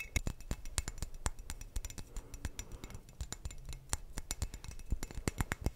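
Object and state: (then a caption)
Glass wine bottle tapped with fingertips. Fingertips tap on a hollow, clear glass sangria bottle, producing quick, irregular, bright clinks that stop almost instantly. The bottle is then tilted sideways while the tapping continues, with a low murmur underneath and a faint low tone partway through.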